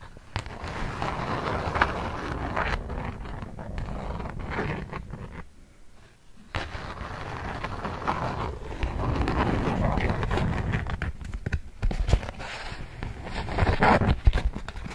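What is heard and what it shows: A polka-dot beeswax-coated cotton food wrap sheet is held flat while a palm and fingertips rub across it, making a dense, continuous crinkling and scraping. The rubbing pauses briefly just before the 6-second mark, then resumes. Toward the end, long nails tap the wrap's surface in short, sharp, irregular clicks.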